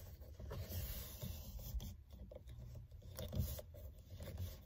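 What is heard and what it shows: Both hands grip the solid rim of a black textured faux-leather steering wheel cover and scratch it with long red nails and fingertips, rings visible on the fingers. The result is a continuous soft rasping, rubbing texture that is mostly low and muffled, with occasional brief brighter scratches over the steady grip noise.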